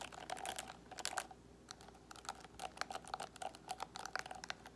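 Fingernails of both hands scratch quickly over the plastic pins of a paddle hairbrush with a black cushion, then move toward the edge of the frame. The result is a dense run of sharp, bright clicking and ticking with a brief lull near the middle before the scratching picks up again.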